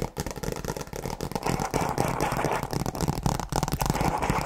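Long nails tap and scratch the cover of a flat, rigid tablet folio case made of faux leather over a hard shell and printed with a tree design. The result is a rapid, irregular stream of short, dull taps mixed with scratchy rustling, with little ring after each tap.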